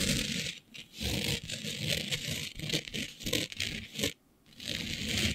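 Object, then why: Flat glitter-coated sheet. Long beige nails on both hands scrape and scratch across a flat black glitter-coated sheet. The result is a dense, bright, gritty rasping with a low rumble underneath, broken by brief pauses, the longest near the end before the scratching resumes.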